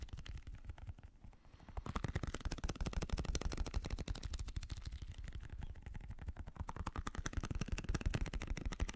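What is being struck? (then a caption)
Rubber stress ball filled with gel beads. A small translucent blue squishy stress ball, likely a rubber skin filled with gel beads, is held in one hand while a fingertip and nail of the other hand tap it rapidly. The taps make a fast, uneven stream of dull, low thumps that die away almost instantly. They are softer for the first two seconds, then grow louder and stay steady.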